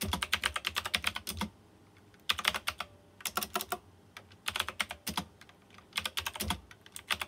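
Fingertips type rapidly on a white plastic mechanical keyboard with round chrome-rimmed keycaps. Quick bursts of bright, crisp clacks are broken by short pauses, and each keystroke dies away almost instantly.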